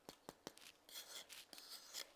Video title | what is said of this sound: Maple Syrup Cake | it should sound something like this when you tap on it. Hear how it sounds nice and crispy like that? That means it's going to have a nice little crust